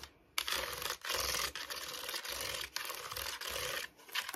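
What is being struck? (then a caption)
Hollow plastic basket scratched with fingernails. Long nails rapidly tap and scratch the base and sides of an empty cream hollow plastic storage basket with slotted sides, turned upside down and on its side. The result is fast, dry, bright scratching in several sustained bursts separated by brief pauses, with little low end.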